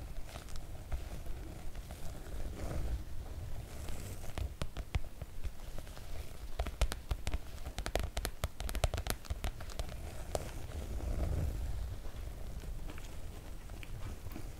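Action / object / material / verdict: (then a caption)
scrape / PVC-coated oilcloth make-up bag / PVC-coated fabric / none. Curled fingers with long nails scratch and tap the surface of a floral PVC-coated oilcloth make-up bag. The clip holds a steady stream of soft, crackly scratching broken by sharp, quick tapping clicks that die away at once, over a low, dull rumble.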